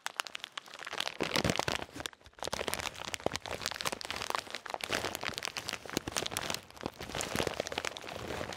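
A full plastic bag of salted peanuts is squeezed and crinkled with the fingertips close to the mic. It makes dense, bright crinkling and sharp crackles with dry, quick snaps. There is a brief lull just after two seconds before the handling picks back up and continues steadily to the end.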